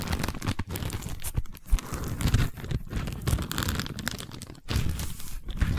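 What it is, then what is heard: Woven seagrass tube. Long nails scratch and tap along a long cylindrical tube covered in a woven seagrass/straw weave, making a steady, dense run of dry, crackly rasps with soft, low, hollow-sounding taps. The texture crinkles continuously with brief quieter gaps, staying close and muffled rather than bright.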